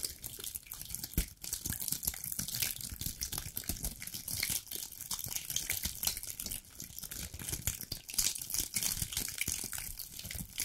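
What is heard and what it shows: Long black nails scratch and rub along the woody scales of a dry brown pine cone, or a cluster of them, about hand-sized. The result is a dense, steady stream of bright, crackly scratching with many tiny clicks and brief louder snaps, plus a light low rumble underneath.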